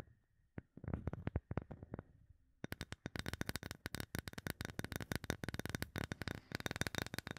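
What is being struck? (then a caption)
Palm-sized bamboo wood block tapped with fingernails. Long nails tap a solid, palm-sized light bamboo wood block held above the mic. Scattered soft, dry taps give way after about two and a half seconds to a rapid, steady run of brighter clicking. Each tap dies out almost instantly, with no ring.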